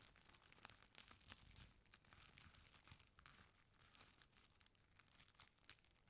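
A folded stack of thin purple tissue paper is rubbed and scratched by flat hands and long nails. The result is a continuous stream of soft, bright crinkles with sharp crackling bursts throughout.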